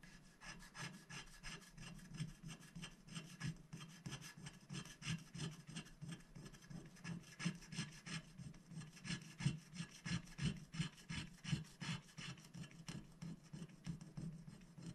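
A wooden stylus scratches the black coating off a flat scratch-art paper sticker sheet lying on a glass plate, revealing colour beneath while the other hand holds the sheet. The scratching is continuous and quiet, with rapid, fairly regular strokes of about three per second that make a dry, rasping sound with a bright hiss.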